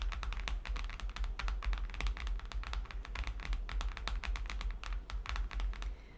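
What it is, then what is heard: Hardcover book, tapped. Fingertips tap rapidly on a stack of vintage hardcover Disney children's books, making a steady stream of quick, dry clicks and knocks. A low hum runs underneath the whole time.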